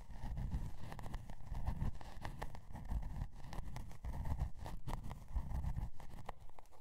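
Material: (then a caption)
Cardboard. Long dark nails scratch the scale-pattern cardboard cover of a spiral-bound notebook resting on faux fur. The result is a steady, dense run of soft, low, muffled scraping strokes, with brief brighter streaks of texture flickering through.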